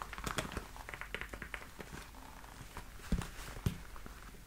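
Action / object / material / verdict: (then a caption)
tap / leather high-heel boot / leather / none. Long nails tap and scratch the smooth leather surface on the foot of a black leather platform high-heel boot. The result is a quiet, steady run of short crinkly clicks and dry scratches, with two louder, deeper thumps near the end.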